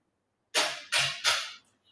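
Three knocks on a big, really thick piece of solid rubberwood furniture, each a sharp, bright rap with a short decay. The knocks sound solid and normal for thick wood.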